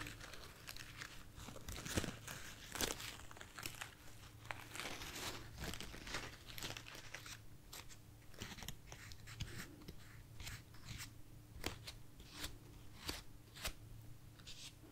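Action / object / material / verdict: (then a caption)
scrape / artificial foam rose bouquet / foam / none. A bunch of light, soft white artificial foam roses is held in hand and tapped and scratched with long nails. Quiet, dry crinkling and scratchy rustles mix with bright, crisp taps over a steady low hum. The sound stays soft and close throughout, with the taps dying away almost instantly.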